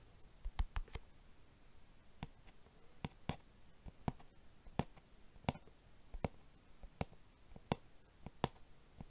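Fingertips of the right hand tap and drum on the lid of a small, hollow, closed silver-white hard plastic box held in the left hand in front of a microphone. About fourteen short, dull clicks sound, some in quick clusters and others spaced apart, each ending almost at once against a quiet background.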